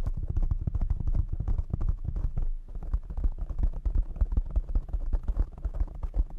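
Fingertips tap rapidly on a black foam windscreen covering a desk microphone. The result is a fast, continuous stream of dull, muffled low thumps with almost no high or bright content, each tap dying away almost instantly.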